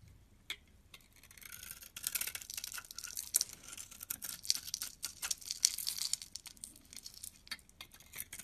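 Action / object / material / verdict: scrape / bar of soap shaved with a knife blade / soap / none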